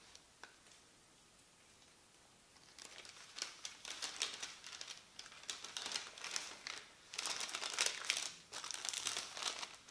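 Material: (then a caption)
Paper. A large, thin printed paper instruction leaflet on a table is folded and rubbed flat with the palms and fingertips. After a quiet start with one faint tick, irregular bursts of bright, crisp crinkling and rustling follow, swelling and fading as the paper is pressed and smoothed.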